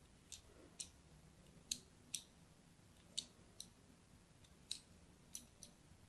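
A thin blade scratches scoring lines into the surface of a solid, hand-sized, pink-and-white striped bar of soap held in the hand. Nine short, bright, crisp scraping clicks come at irregular intervals, each dying away almost instantly. A faint low hiss sits underneath.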